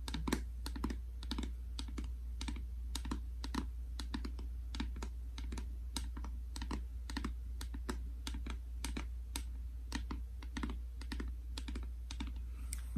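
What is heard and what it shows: A small, hollow plastic Anessa sunscreen bottle, held in one hand, is tapped with the fingertips and nails of the other hand. The taps come as a steady run of quick, dry, bright clicks with a light hollow knock under them and very little ring, over a constant low hum.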